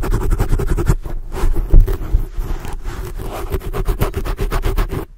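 Long blue acrylic nails on both hands scratch a black foam microphone windscreen, making a deep, muffled, rumbling scrape. Fast rhythmic strokes at the start and end frame a slower, rougher middle stretch. The sound is almost entirely low and boomy, with little brightness and a short, dry decay at each stroke.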